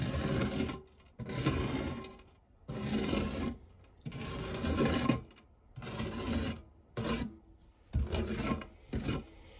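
A silicone spatula scrapes across the textured base of a round, fluted, non-stick metal tart tin, through crumbs. About eight rasping scrape strokes of varying length are separated by short pauses, with a mostly low, gritty rubbing tone.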